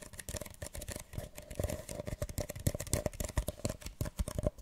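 A single small, hollow, empty printed paper cup, held upside down, is tapped rapidly on its sides and base with long nails. The result is a fast, uneven patter of short, dry hollow knocks with low thumps and a faint steady tone near 600 Hz, each tap dying away almost at once.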